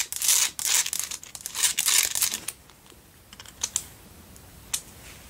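Long nails scratch and tap the sides and base of a pink Himalayan salt single tealight candle holder. A dense burst of bright, gritty scratching fills the first half. It thins into quieter rasps and a few sharp, isolated taps.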